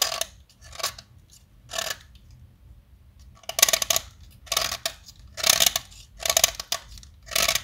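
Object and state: Chalk stick being carved.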